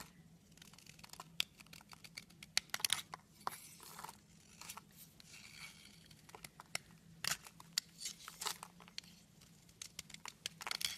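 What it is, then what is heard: Soap bar being carved. A utility knife blade scrapes and carves the surface of a long, solid red soap bar held in the hand, sending crumbs falling. Quiet, dry, crisp scraping and cutting strokes come in bursts of bright, crackly clicks with almost no ring, over a faint steady low hum.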